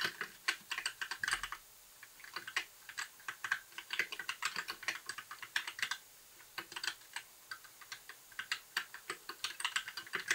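Fingertips type continuously on a compact white plastic mechanical keyboard with backlit keys and a hollow case, resting on a desk. Bright, short, clacky key taps come in quick irregular bursts, with brief pauses near two and six seconds. The taps have no low-end thump and a hollow plastic tone centered around 1.5 kHz.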